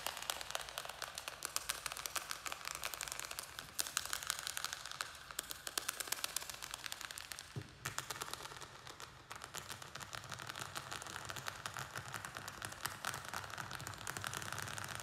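Fingernails rapidly tap and scratch a small square black plastic nursery pot filled with soil and a string-of-pearls plant. The result is a quiet, dense stream of crisp, bright clicks and scratchy crackles with very short, dry decays. The sound softens briefly around the middle before picking back up.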